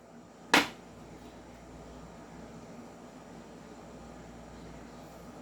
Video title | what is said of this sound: Review N Unbox of 5.1 Trex Hi-Capa Silver | Walang kalog. Zero. Zero. Walang clearance. Zero.